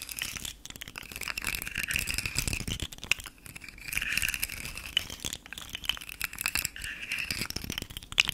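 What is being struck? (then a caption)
Articulated plastic fidget slug toy. A rainbow, segmented hard-plastic articulated fidget slug toy is held in the hand and its segments are wiggled so they rattle and click against each other. The sound is a dense, uneven stream of quick, dry clicks and rattling bursts, with a bright, crisp tone and almost no low end. Each click stops instantly with no ring.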